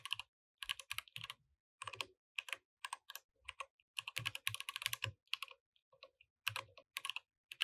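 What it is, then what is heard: Mechanical keyboard with plastic keycaps. Both hands type densely with their fingertips on a compact mechanical keyboard with plastic keycaps. Bursts of quick, bright, clicky clacks come with brief pauses between them, and each keystroke is short and dry with almost no low end.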